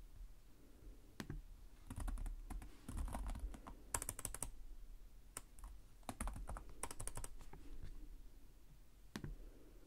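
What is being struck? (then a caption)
Plastic laptop keyboard. Fingertips type on the plastic chiclet keys of a black laptop resting on a desk. Quick, dry clicks come in irregular clusters separated by short pauses, over a soft low hum.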